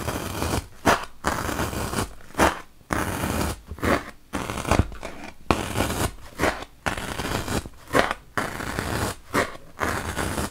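A wooden toothpick is poked repeatedly into a large, solid white block of melamine foam (a magic eraser). Each jab gives a short, dry, scratchy crunch, and brief quiet gaps separate the rough, steady bursts of scraping texture.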